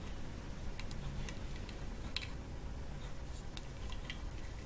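Long false nail tips tap on the painted wooden top of a hollow coconut shell kalimba, held up close, near the lower edge. Light, sharp ticking clicks with a bright high edge come at irregular intervals over a steady low rumble.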